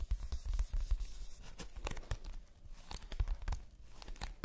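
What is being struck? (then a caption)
Glossy printed cardboard box. Fingertips and long nails scratch and tap across the glossy surface of a large, flat, printed cardboard advent calendar box. The result is a quick, uneven series of soft, dull taps with short scratchy sweeps in between, each tap dying away almost at once.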